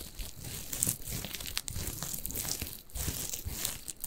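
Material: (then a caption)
Plush fabric. Fingers scratch and squeeze a small, soft, stuffed orange plush fabric carrot cat toy with green leaves, possibly holding crinkle filling. A steady stream of dry crinkling and scratchy rustle comes through, with soft low thumps from the squeezing under bright, crackly fabric noise.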